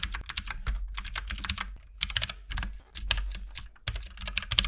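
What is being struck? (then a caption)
Mechanical keyboard with plastic keycaps. Both hands type with their fingertips on a compact RGB mechanical keyboard with white and pink plastic keycaps. Dense bursts of short, bright clicks and clacks rattle along in quick runs, broken by brief pauses, over a steady low hum.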